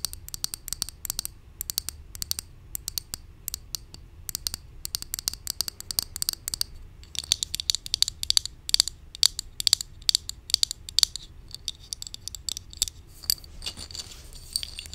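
Long nails tap rapidly and steadily on a hollow white plastic supplement bottle with a label, held up in the air. The taps are short, bright, dry clicks with almost no ring and very little low end, coming in quick irregular bursts that grow denser and louder in the second half.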